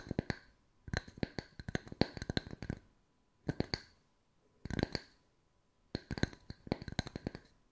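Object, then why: Small round wooden tree slice coaster. Long nail tips tap rapidly on two matching small round wooden tree slice coasters held in both hands. Quick dry clicks with a woody knock near 230 Hz and bright ticks come in uneven bursts separated by short pauses, each tap dying out almost instantly.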